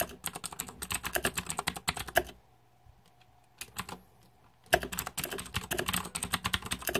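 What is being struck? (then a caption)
Mechanical keyboard with plastic keycaps. Fingertips type on the plastic keycaps of a green-backlit Razer 2014 Deathadder mechanical keyboard, producing rapid, bright, clacky keystrokes. The typing stops after about two seconds, leaving a quiet stretch with a faint low hum, steady tone and a few isolated taps. Fast typing then resumes to the end.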